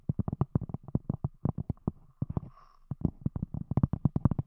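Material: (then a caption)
Cork. A round, thick, solid palm-sized cork disc capping a microphone is tapped with the long, glossy fingernail tips of both hands. The result is a rapid run of about 26 deep, muffled, bassy thumps that stop almost instantly. There is a brief pause with only faint hiss midway before the tapping resumes.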